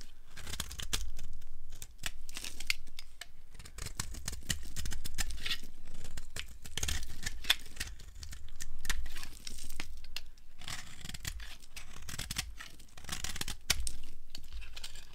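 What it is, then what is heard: Dry soap bar, carved. A flat blade carves a solid pale green dry soap bar held in the hand, and crunchy curls break off. Dense, bright crackling and scraping comes in uneven bursts with short pauses, full of sharp little clicks over a low rumble.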